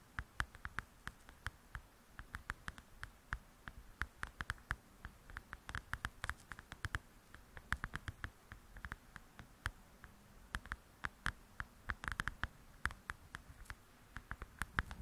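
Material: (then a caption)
Paper. Long pointed nails tap quickly and scratch on the paper cover of a large, thin paperback coloring book. The result is a steady stream of quiet, sharp clicks that die away almost instantly, each with a soft low thud, over faint scratching.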